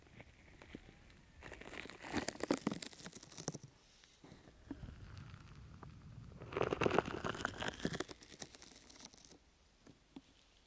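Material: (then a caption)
Foam rubber. A brown, open-weave sticky foam rubber grip mat is draped over a microphone while long nails scratch it and fingertips pat its sides. Soft, close crinkling and rasping build into two louder, denser bursts of scratchy, bright texture, separated and followed by quieter taps and light patting.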